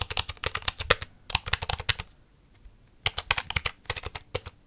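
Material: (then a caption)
Plastic. Fingertips with nails type and tap on the keys of a full-size black plastic computer keyboard held close to the mic. About two dozen sharp, bright plastic clicks come in two quick runs, with a quiet pause of about a second between them.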